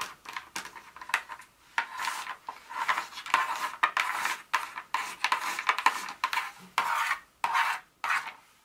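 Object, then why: Broken dark chocolate pieces on a countertop. Very long nails scratch and tap a pile of small, solid dark chocolate pieces broken from a bar, then rake around the edge of the pile on a countertop. The result is a series of dry, scratchy rasps and short clicky taps with a bright edge, centered around 1 kHz with no low end.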